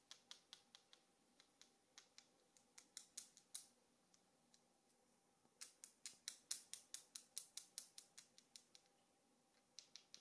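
Several small, solid, gold-colored Varta AAA alkaline batteries with metal casings are held between fingertips with long pink nails and clicked and rubbed against each other. About 35 sharp, bright metallic clicks come in uneven bursts, with a quieter stretch of faint scraping in the middle. Each tick dies away almost instantly, with no low-end weight.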